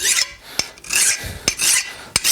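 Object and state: Hardened steel, file skates off.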